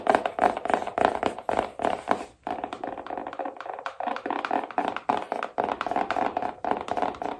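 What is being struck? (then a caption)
Small cardboard box. Long nails scratch and tap rapidly on the lid of a small, hollow black cardboard iPhone box. The result is a steady stream of quick, dry clicks and scrapes with a hollow mid-range tone around 650 Hz. There is almost no bass and each tap dies away within a tenth of a second.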